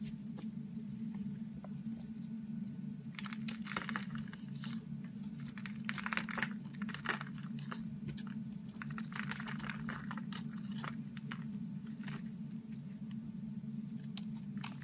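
A solid orange Duru soap bar with a painted green coating is held in the hand while a knife blade scrapes its surface into crumbs. Bursts of crisp, bright scraping and crunching come in clusters over a steady low hum.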